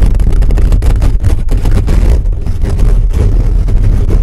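Fingertips and nails of both hands scratch fast over a hollow black metal mesh microphone grille. The result is a loud, continuous, dense scraping rumble concentrated in the low end, with rapid, flickering bursts and almost no high content.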